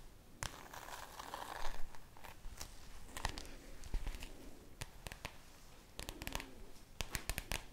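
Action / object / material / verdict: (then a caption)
tap / spiral notebook with plastic cover / plastic / none. Long nails tap and scratch the glossy plastic cover of a red spiral notebook. Soft, crinkly scraping runs throughout, broken by sharp, bright clicks from the nail taps, each dying away almost instantly.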